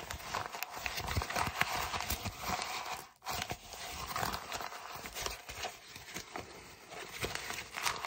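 An empty brown kraft paper mailer bag is scrunched and crinkled in both hands, giving dense, bright crackling and rustling with a brief lull around the three-second mark before the crinkling resumes.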